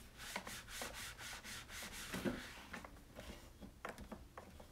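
Hands rub a cloth back and forth over the reservoir lid and top of a white, hollow plastic coffee maker. Steady, bright swishing strokes repeat in a quick rhythm, then give way to softer, uneven wiping with a few light knocks.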